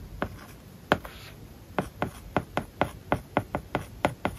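A plastic stylus writes on an iPad lying flat, its glass screen covered with a matte plastic paper-like film. A steady run of short, dry taps and scratches sounds against the surface, with a brief soft rub early on. Each tick dies away almost instantly with no ring.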